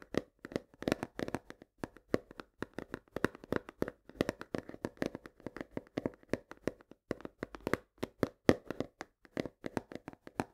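Long nails tap fast on the front face of a full 1 kg cardboard box of coarse salt. Dozens of quick, dry, hollow taps come in uneven bursts over about ten seconds, each one short and mid-pitched with almost no ring, at a soft level.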